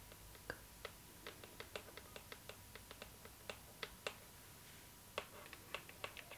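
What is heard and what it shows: Long nails tap the lid of a hollow, rectangular cardboard gift box with a glossy floral print, held in the hands. About 22 short, crisp, bright clicks come at an uneven pace, each dying away almost at once, over a quiet steady hiss.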